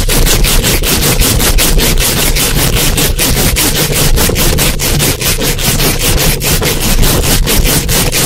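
Long acrylic nails rub and scratch rapidly up and down a hollow metal mesh microphone grille. The result is a loud, continuous, rhythmic scraping with a heavy low rumble underneath and bright, hissy scratches on top, steady in level throughout.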